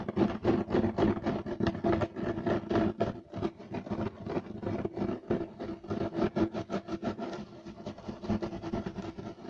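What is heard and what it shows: Both hands scratch fast with short nails and fingertips across a flat, solid beige striped woven loop-pile carpet. The result is a rapid, uneven run of dry, rasping scrapes with a mid-pitched, muffled texture and little brightness. The strokes pulse at a quick, irregular pace throughout.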